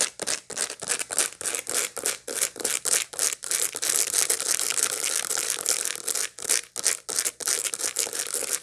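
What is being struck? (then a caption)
Dried sunflower head with seeds. Long light-blue nails scratch over the seeds of a dried sunflower head held in the hands, making quick, bright, dry scratching strokes. The strokes come in a fast, uneven rhythm, then blur into a steadier rasp midway before breaking back into separate scratches.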